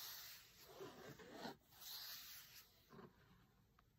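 Fingertips rub, scratch and tap across the textured cover of a large, closed, cloth-covered hardcover cookbook. The result is a quiet, hissy, papery scratching that swells in a few uneven strokes, with a faint light tap at the end.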